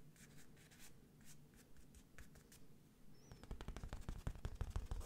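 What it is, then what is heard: Printed canvas wall picture. Fingertips trace and scratch the printed letters on a medium square IKEA London wall picture, a printed textured surface on a rigid frame held in hand close to the mic. Soft, airy brushing strokes come first, then the scratching turns into a louder, faster run of sharp, dry ticks with a low, thumpy body toward the end.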